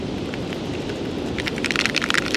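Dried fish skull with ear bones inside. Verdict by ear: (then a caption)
Loose. A dried black drum skull from a fish of about 40 inches, left to deteriorate for about two months near the sand dunes, is shaken by hand. Over a steady broadband hiss, quick, dry clicking rattles rise in the second half as the loose ear bones (otoliths) knock around inside the skull.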